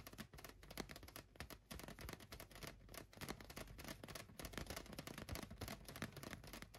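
A large, hollow, light-blue inflated latex balloon resting on a couch is tapped on its sides with fingertips and nails. The result is a quiet, rapid, continuous patter of short, dry taps and clicks, with a soft low thump beneath bright, crisp ticks that die away almost instantly.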